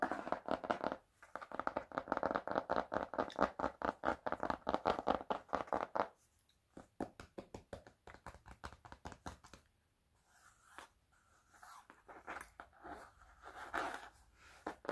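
A worn, closed, medium-sized black hardcover sketchbook, its cover likely cardboard wrapped in paper or cloth, is held in both hands and scratched and tapped with fingertips and nails. Dense, rapid mid-range scratching fills the first six seconds. Quieter, sparser dry taps follow, then softer brushing scratches, all short and dead with no ring.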